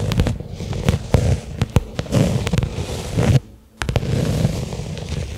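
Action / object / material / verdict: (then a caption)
tap / small flat leather case / leather / none. Long fingernails tap a small, flat black pebbled-leather case lying on carpet. The result is a steady run of quick, dull taps and scratchy rustles, mostly low and muffled with only a faint bright edge. The sound pauses briefly into near silence before the tapping resumes.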